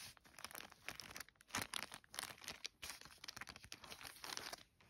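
Fingertips and long nails trace and scratch over a flat yellow polka-dot paper gift bag or envelope of thin paper lying flat. The result is a steady run of dry, bright, crinkly scratching strokes with quick rises and fades and very little low end.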